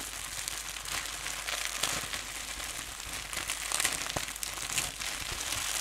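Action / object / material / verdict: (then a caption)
scrape / plastic bubble wrap sheet / plastic / none. A loose sheet of clear plastic bubble wrap around the microphone is held up in both hands and crumpled and rubbed with the fingers. It makes a dense, continuous bright crinkling and crackling with small sharp pops scattered throughout.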